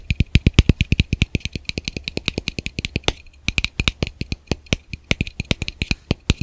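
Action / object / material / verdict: tap / plastic camera lens cap / plastic / none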